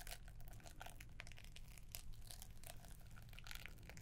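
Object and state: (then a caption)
Paper-wrapped gift box, scratched. Long nails scratch the green paper wrapping and gold ribbon of a gift box, making a steady stream of soft, bright crinkling and scraping strokes. A low hum sits underneath throughout.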